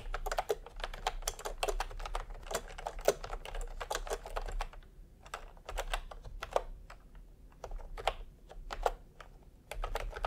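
Bare fingertips of both hands type fast on a full-size pastel plastic retro keyboard with round plastic typewriter-style keycaps, resting on white fabric. Rapid, short clacky taps with a hollow, mid-pitched body die away almost instantly, coming in dense bursts with brief pauses. A steady low rumble sits underneath.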